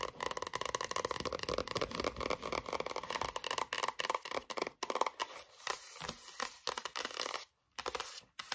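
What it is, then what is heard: Cardboard-covered spiral notebook. Long nails rapidly tap and scratch the front card cover of a closed, solid pink A4 spiral notebook standing on a wooden table. The result is a dense run of quick, dry clicks and papery scrapes centered around 900 Hz, with little low end and a bright, hissy top. Near the end the tapping thins into sparser scratches with brief silent gaps.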